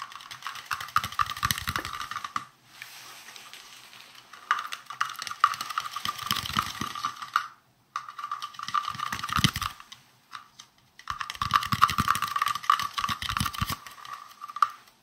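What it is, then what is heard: Plastic round container. A small, round, hollow green plastic container is held in the hands and tapped rapidly with fingertips and nails. The taps come in quick, dense bursts separated by brief pauses, each a short, light click with a hollow ring around 1.2 kHz.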